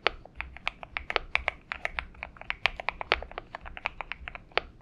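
A purple Xinmeng M71 mechanical keyboard with PBT keycaps is typed on with the fingertips of both hands. Rapid, sharp, bright clicky keystrokes, about 28 separate hits, each with almost no ring and a tonal peak near 2.3 kHz over a faint low hum.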